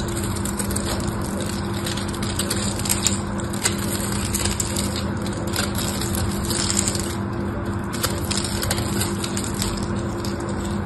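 A small knife scrapes across the scored surface of a solid pink bar of soap held in the hand, crumbling off flakes. The sound is a steady, dense run of crackly, crunchy scraping with brief brighter ticks, over a constant low hum near 200 Hz.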